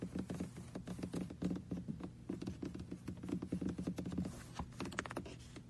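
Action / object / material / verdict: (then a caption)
tap / small hollow plastic car-shaped computer mouse / plastic / none. Fingertips tap and click rapidly on the roof of a small red hollow plastic car-shaped computer mouse resting on a lap. The result is a quick, dense patter of soft, hollow, low plastic taps with little brightness, each dying away almost at once.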